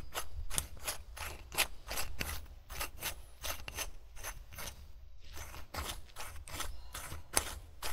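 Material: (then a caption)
Glass, metal. Fingertips grip the gold metal screw cap of an empty-looking brown glass wine bottle lying on its side on grey fabric in front of a recorder, twisting it back and forth. The result is a steady run of short, dry ratcheting scrapes with bright clicky edges over a low rumble.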